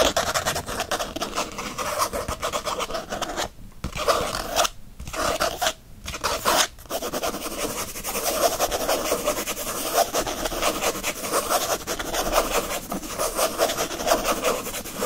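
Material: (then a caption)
Faux leather. Fingernails scratch fast and aggressively across the printed faux leather cover of a disc-bound planner held in one hand. The result is a dense, raspy scraping with a midrange focus and a bright hiss, broken by a few brief pauses between about 3.5 and 7 seconds before it carries on steadily to the end.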